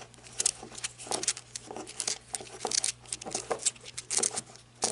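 Long red nails tap and scratch the ridged body of a handheld black flashlight with a ribbed rubber grip while holding it. The result is a quick, irregular series of bright, dry clicks and crinkly scratching bursts with almost no ring, over a faint, steady low hum.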